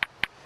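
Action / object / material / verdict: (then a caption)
tap / flint nodule / flint / sound. A piece of beach flint is tapped twice to test it for fractures from being rolled in the surf. Each tap gives a short, bright, crystal-like ping centred around 2 kHz that dies away quickly. The clear ring marks it as a good piece, largely free of flaws.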